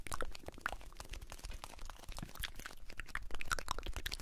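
Fingertips and nails tap and scratch the sides and flap of a small blue "Alpen Salz" cardboard carton, a hollow box that probably holds salt. A rapid, steady run of dry, crinkly taps and scratchy strokes sounds close-up, with a dull low body and bright clicks that die away almost instantly.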